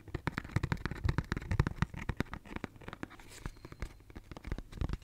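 Fingernails scratch a pink cardboard tissue box with a cloud print, a hollow cube held in one hand. A rapid, uneven run of short, dry scratches and taps comes through, with hollow low-heavy thuds under faint papery crackle. Each stroke stops dead with no ring.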